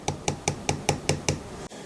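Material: Aluminum.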